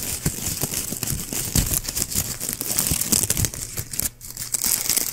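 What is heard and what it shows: A small white shiny plastic ribbon gift bow with hollow looped petals is held in one hand beside the mic while fingertips squeeze and scratch its loops. The result is a dense, continuous crinkling made of many quick, bright crackles over a low rustling base, with a brief lull near the four-second mark before it picks up again.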